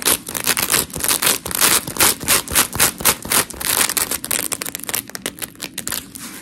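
Long pink nails scratch a white, hand-sized smiley-face scrub sponge of coarse polymer foam while both hands grip and squeeze it. The result is a quick, uneven run of bright, gritty scratching and rubbing bursts, about three or four a second, with little low end. The bursts fade slightly softer toward the end.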